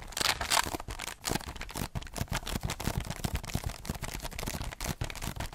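Medium pink-painted nails scratch quickly across the hollow underside of a heart-shaped cardboard box covered in textured holographic foil, close to the mic. The result is a dense run of short, crisp scratching strokes with a bright, crackly edge over a hollow, low thumping body, each stroke dying away almost at once.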